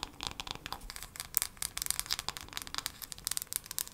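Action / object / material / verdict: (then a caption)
tap / wooden hairbrush / wood / none. A wooden hairbrush is tapped quickly with long nails, giving a rapid, uneven run of dry, bright clicks. The sound is crisp and mostly high, with almost no low end and no ring after each tap.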